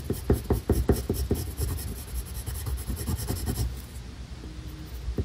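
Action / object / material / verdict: scrape / colored pencil on a paper coloring sheet / paper / none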